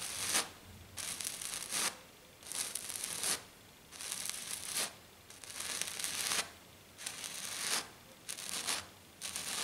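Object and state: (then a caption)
Glitter-coated sheet being scratched. Long black nails on one hand scratch a flat, silver glitter-coated sheet in eight rough, bright, hissing bursts, each lasting about half a second to a second. Short, nearly silent pauses separate the bursts, and the sound sits almost entirely in the high range with very little low end.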